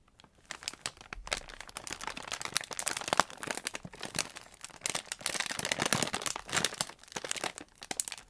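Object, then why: Polyethylene postal mailer bag. A soft pink polyethylene shipping mailer with Korea Post customs labels, filled with packaged socks, is held and handled with bare fingertips. The plastic film gives off dense, bright crinkling and rustling in a rapid run of short, crisp crackles with almost no low end. The texture stays busy throughout, with louder bursts around the middle.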